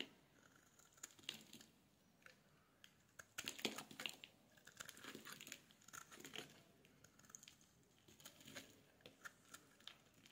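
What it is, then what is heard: Bar soap being shaved with a blade. A solid yellow bar of soap is scraped with a metal blade, shaving off thin curls. Dry, crisp scraping and crinkling strokes come in bursts, bright and airy with almost no low end, with a denser run of scrapes in the middle.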